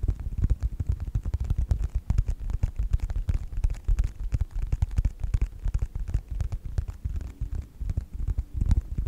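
Fingertips tap and scratch the cover of a closed yellow faux leather wallet with a snap strap, held in both hands. The result is a rapid, steady run of soft, muffled thumps with short scratchy flicks, almost all of it deep and low with no ring after each touch.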